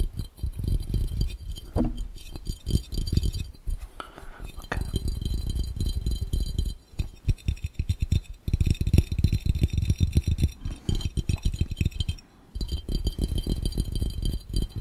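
Fast, intense tapping on a glass fishbowl covering the camera produces a dense, continuous clinking glass rattle. The taps are short with almost no ring, weighted heavily toward a low, thudding body with only faint high chink. They come in rapid bursts with brief pauses near the middle and just past three-quarters of the way through.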